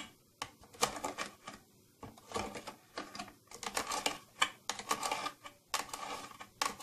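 Fingernails tap rapidly on the side panel and silver trim of a closed, hollow, round purple plastic tattoo kit case. The sound is a series of bright, dry clicks in quick bursts separated by brief pauses, each tap dying away almost instantly with very little low end.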